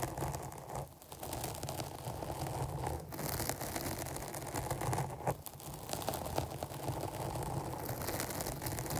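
Both hands scratch a black porous foam microphone cover on a rounded capsule with long painted nails. The result is a dense, continuous crackling rustle heavy in low rumble, with brief quieter gaps between bursts of scratching.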